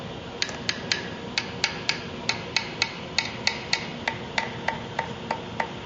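A metal fret end on a Parker Fly guitar, popped up with an X-Acto knife to make it loose, is tapped 20 times at a steady pace. Each tap is a short, dull, bright click that dies out almost at once and sounds like wood rather than ringing metal. That dead sound means the fret end is loose and needs to be glued down.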